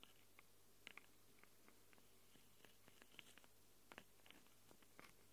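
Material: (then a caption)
Metal. Long acrylic nails scratch and tap on the metal mic capsules of a small black handheld Tascam recorder. The result is an uneven run of about fourteen sharp, bright clicks with faint scratchy texture between them, over a quiet, steady low hum.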